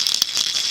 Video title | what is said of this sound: What is Blind Tennis-Takei's Dream | I put tiny lead beads in it when you shake it you can hear a very distinctive sound